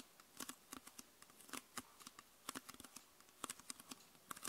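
Long nails tap the lower part and label area of a clear, hollow, mostly empty plastic PET Coca-Cola bottle with a red label. The result is an irregular series of quick, dry, clicky taps with bright crackly edges and almost no ring, over a quiet background.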